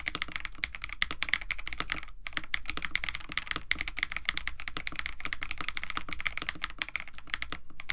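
Both hands type continuously with fingertips on a compact 65% KBD67 Lite mechanical keyboard with a white case, blue and white PBT plastic keycaps, an FR4 plate and lubed Techno Violets switches. The result is a steady, dense stream of short, crisp clacks with a bright click centred near 2 kHz and a soft low thud under each keystroke, with barely any ring after each press.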